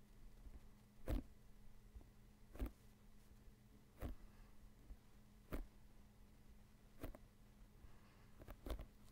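Fingertips and nails tap and scratch the panels of an inflated, hollow synthetic leather soccer ball held in both hands close to the microphone. Short, dull, low-heavy taps sound every second or two, with the last two close together, over a quiet steady low hum and faint scratching between them.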